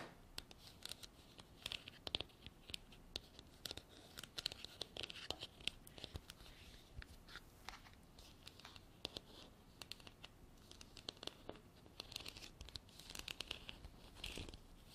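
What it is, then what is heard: Hard plastic container tapped and scratched with nails. Long black artificial nails tap and scratch a hand-sized, hollow, white frosted hard plastic container with an embossed texture and a white cap, which appears empty. The sound is a quiet, continuous run of bright, crisp clicks and scratchy rasps, with short taps scattered throughout and each dying away almost instantly.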